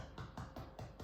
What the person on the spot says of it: Nice and hollow sounding. yeah, it sounds nice and hollow.